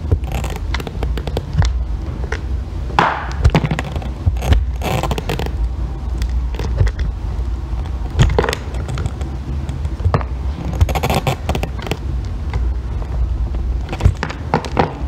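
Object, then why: Bar of soap scraped with a metal tool. A metal loop-ended blackhead tool scrapes and shaves curls from a solid pale green bar of soap held by fingers with long nails. It makes a steady run of dry, rasping scrapes with frequent short, sharp strokes over a deep, muffled rumble.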